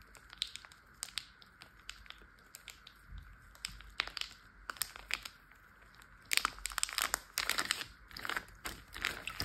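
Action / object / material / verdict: tap / plastic zip bag filled with water / plastic / none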